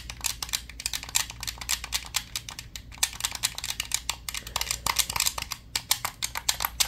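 Fingers rapidly tap and scratch the grips and buttons of a black, hollow, handheld plastic game controller. The result is a dense run of sharp, dry, high-pitched clicks and scrapes that die away almost instantly, over a faint steady low hum.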